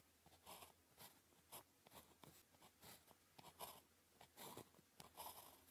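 A ballpoint pen tip scratches short strokes across a thin sheet of red-grid paper lying flat while writing characters. The result is quiet, bright, papery scratching in irregular bursts, each stroke a brief rasp with a midrange body and a high hiss.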